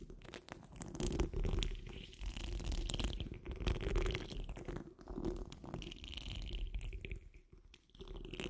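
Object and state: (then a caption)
Metal mesh microphone grille being scratched. Long nails on the curled fingers of both hands scratch the rounded, hollow steel wire-mesh grille of a large condenser microphone. The result is continuous, irregular rasping and crackling scratches with a heavy low-frequency rumble beneath them. Brighter scraping shimmers come and go, and the level swells and dips with the strokes.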